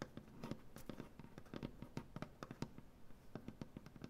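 Fingernails on both hands tap rapidly across a large, solid wooden butcher-block tabletop. About two dozen quick, dry, soft taps land in an uneven patter, each with a low woody thump and a brief click that dies away almost instantly.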